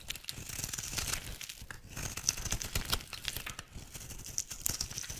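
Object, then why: Bar of soap. A utility knife blade shaves curls off a rectangular, solid, dry yellow soap bar held in the hand. The scraping and cutting make a steady run of dry, crisp crinkling and crackling, bright and papery with a soft low rumble underneath.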